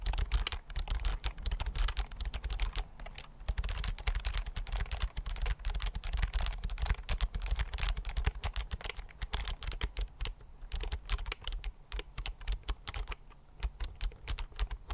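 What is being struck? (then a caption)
Thin plastic chiclet keyboard. A thin white plastic keyboard with flat chiclet keys is held in both hands while fingertips type on it. The result is a steady run of short, dry key clicks with no ring, over a deep low rumble that lasts the whole clip.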